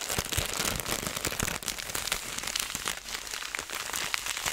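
A clear plastic zipper bag filled with small seeds is squeezed and kneaded in both hands, so the seeds shift and rattle while the plastic crinkles. The result is a steady, dense stream of bright, crisp crackles and rustles with little low end.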